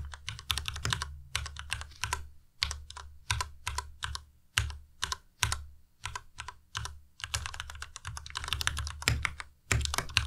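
Fingertips type steadily on a white Ducky Miya Pro tenkeyless mechanical keyboard with plastic keycaps. Quick bursts of crisp, bright clicks and clacks come in uneven runs with brief pauses, and each keystroke dies away almost at once. A steady low hum sits underneath throughout.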